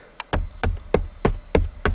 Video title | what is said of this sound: Tutorial izolat fonic stalpii de plastic dintre usi la Logan | nu se aude decât o chestie înfundată